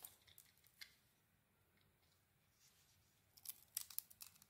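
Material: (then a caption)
Soap. A solid grey soap bar with a cream-white core, hand-sized and held in one hand, has curls shaved and scraped off by a small metal blade. Quiet, bright, crisp scraping and crackling comes in short bursts at the start, fades to near silence, then returns as a denser cluster of sharp scrapes near the end.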